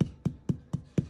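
Five knocks on a whole jackfruit, checking whether it is ripe. Each knock is a short, dull, low thump centered near 150 Hz with almost no ring, sounding hollow inside. The fruit is ripe.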